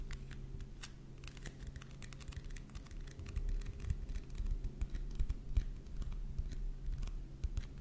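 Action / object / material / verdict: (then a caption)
tap / paperback book with glossy paper cover / paper / none. Fingertips and nails tap and scratch the glossy paper cover of a closed paperback book on healing stones, held in one or both hands. Quick, irregular dry clicks and brief scratches sit over a steady low hum, getting louder and busier in the second half.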